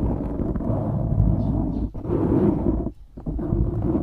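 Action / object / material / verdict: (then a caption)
scrape / foam microphone windscreen / foam / none. Fingertips and nails scratch the sides of a black foam windscreen on a microphone, making a dense, low rumbling rustle with most energy below 200 Hz and little high content. The scratching runs almost continuously, with brief drops near 1.9 seconds and a longer pause around 3 seconds before it resumes.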